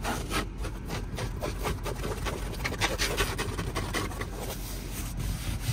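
Fingertips and nails rub and scratch quickly across a padded, soft, light grey woven fabric car seat with a diamond stitch pattern. A steady, dry, scratchy rustle runs throughout, with bright grainy strokes over a low rumbling bed.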